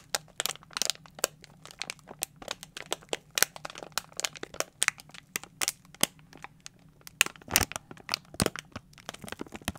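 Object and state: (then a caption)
Thin plastic container crinkled. A small, hollow, clear thin plastic container with a lid and a label strip on top is held in both hands and squeezed and crinkled with the fingertips. It gives dense, bright, sharp crackles and crinkling snaps that stop dead, with a faint low hum underneath. Louder crunches stand out near the end.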